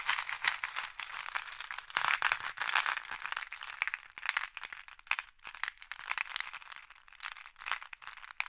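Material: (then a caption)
Glass. Fingertips and long nails dig into a wooden tray full of small, solid, flat glass pebbles and stir the pile. The result is a dense, continuous stream of bright clicking and clacking with almost no low end, rising and falling in bursts as the pebbles shift against each other.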